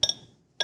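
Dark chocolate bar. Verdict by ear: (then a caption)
Well tempered. A Trader Joe's 72% dark chocolate bar is snapped, giving short, bright, high-pitched cracks. Two quick snaps come close together, then a third begins after a brief pause. The crisp snap shows the chocolate is well tempered.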